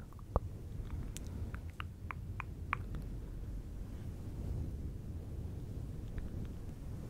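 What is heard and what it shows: Fingertips of both hands rub and scratch a fluffy synthetic fur windscreen on a silver microphone. A dense, low rumbling rustle fills the clip, with short crisp ticks and one sharper snap near the start.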